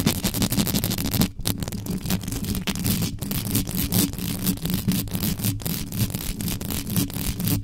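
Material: Metal mesh.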